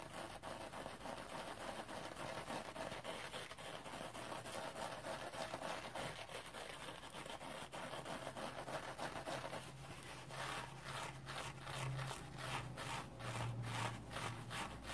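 A dry rectangular sponge wrapped in gold metallic woven scrubbing fiber, held in the palm, is scratched by fingernails across its rough sparkly surface. Dense, steady rasping and crinkling scratches fill the clip, then become sharper, rhythmic strokes toward the end with a faint low hum underneath.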